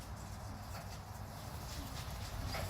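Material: Nothing is struck.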